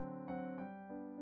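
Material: Nothing is struck.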